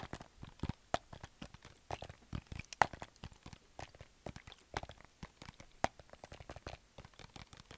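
A medium plastic household spray or cleaner bottle with a printed label and a white trigger head is held in both hands and tapped and scratched with fingertips and nails. The result is an irregular run of short, dry, crunchy clicks and taps with scratchy rustling between them and no ring. A few sharper knocks stand out above the soft patter.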